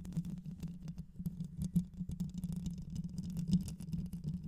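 Long white nails scratch and tap the rounded metal mesh grille of a black microphone with a hollow head. A steady low hum runs underneath, with dense, irregular scratchy patter and sharp brighter ticks throughout.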